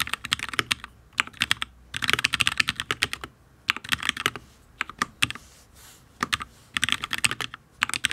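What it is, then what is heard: Mechanical keyboard with ABS keycaps on a steel plate. Fingertips of both hands type on a full-size HyperX Alloy Origins RGB mechanical keyboard with Fire switches and ABS keycaps on a steel plate, which sounds solid. Quick bursts of short, bright clacking taps come in flurries separated by brief pauses. Each keystroke cuts off almost instantly, with little low end.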